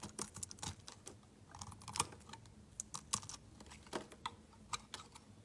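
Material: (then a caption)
Glycerin soap. A metal knife blade shaves thin slices off a solid, rectangular, translucent yellow glycerin soap bar held in the hand. About twenty short, crisp, bright scraping clicks come in an irregular run over a faint low hum. Each cut is dry and sharp with almost no ring.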